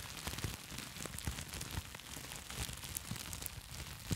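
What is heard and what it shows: A sheet of plastic bubble wrap held near the mic is squeezed and crinkled with fingertips and long nails. It makes a steady, quiet crackling rustle with scattered sharp, bright pops and soft low thumps.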